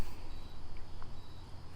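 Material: Nothing is struck.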